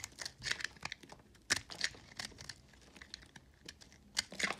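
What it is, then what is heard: Recycled soap bar. A metal box-cutter blade scrapes and shaves chunks and flakes off a hand-held, solid white, blue and green recycled soap bar. The result is a run of short, dry, crinkly scraping and crunching bursts, bright and high with almost no low end, each cutting off quickly.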